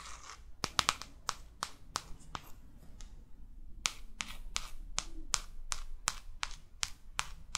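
Long fake nails scratch and trace across the back cover of a New York paperback guidebook, then tap on its front cover. Brief, bright clicks ring out, first in an uneven cluster and then, after a short lull, in a steady, evenly spaced run of sharp taps that die away almost instantly.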